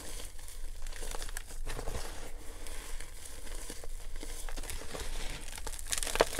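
Bare hands dig into a clear plastic tub filled with loose, dry, pink glittery gym chalk (magnesium carbonate) powder, scooping and squeezing handfuls to crush and crumble it. The result is a steady, soft, crinkly crunching and grainy crackle over a low, muffled rumble, with a few sharper crisp crunches toward the end.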